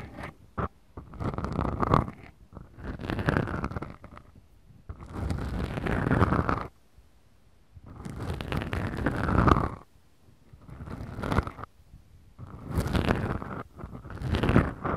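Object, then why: Small foam microphone windscreens. Long fingernails on both hands scratch two small black foam windscreens mounted on a Tascam recorder. Slow, deep scratching comes in repeated bursts of a second or two, separated by near-silent pauses. The scratches sound like a heavy, low rumble with a rough, scraping texture on top.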